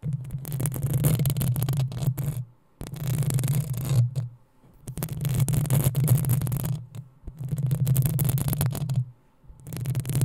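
Long acrylic nails of both hands scratch the hollow metal mesh head of a black desktop USB microphone. The scratching comes in five dense bursts separated by brief silences, each a crackly, rustling texture over a heavy low boom.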